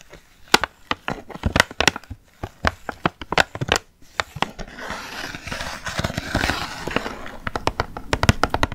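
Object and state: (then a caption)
Cardboard gift box tapped and scratched with fingernails. A small printed cardboard gift box holding nail polish bottles behind a window, held in both hands, is tapped and scratched with long painted nails. Crisp, dry clicks come in quick, uneven bursts for the first half. Then a continuous bright scratching texture takes over, with scattered taps on top.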